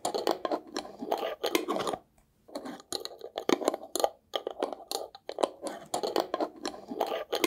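A small, hollow, square glass jar with a paper label is held in the hands and scratched and tapped with fingernails. Quick bursts of dry scratching and light clicking taps come in clusters, with short pauses near two and four seconds. The sound is midrange-centred with little low end and almost no ring after each tap.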